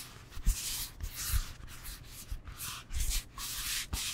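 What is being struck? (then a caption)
Foam yoga block. Fingertips rub and scratch a solid rectangular foam yoga block held in both hands. The result is repeated bursts of dry, hissy scraping with soft, dull low thumps between them.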